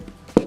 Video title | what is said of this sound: Sourdough Bread - You will be hooked. You will get fat. | if you're unsure whether your loaf is done hit it a few times on the bottom if it sounds hollow it should be fine